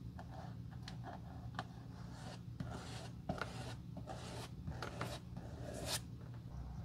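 A glue brush is swept across the solid red-brown leather outsole of a black dress shoe held in the hand. Soft, dry brushing and rubbing strokes come in short bursts over a steady low hum, with a few brighter scratchy swipes standing out.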